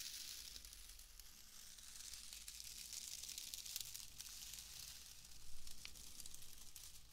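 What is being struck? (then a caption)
Bundle of shredded wood wool. A loose, airy bundle of pale shredded wood wool is held in both hands and crumpled and rubbed between the fingers close to the mic. It makes a continuous dry, bright crackling and rustling, like crisp sizzling, with a few sharper crackles. A faint low hum runs underneath the whole time.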